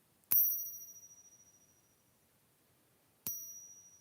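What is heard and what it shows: A silver coin marked '85 is given a ping test, struck twice about three seconds apart. Each strike gives a bright, bell-like ping with a clear, high ringing tone that slowly fades over a couple of seconds.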